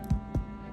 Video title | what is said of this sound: Mini IRISH SODA BREAD Loaves with Golden Raisins Recipe from Chef Victoria Love | if it sounds Hollow then you know it's done it's baked all the way through